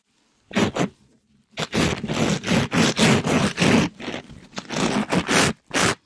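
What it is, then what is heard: Mesh scrub sponge scraped over a microphone. A palm-sized, soft pink glittery mesh scrub sponge is scraped by a gloved hand over the top and side of a mic grille. The result is a series of rough, fast, irregular scratching strokes, broadband with a bright, hissy top end.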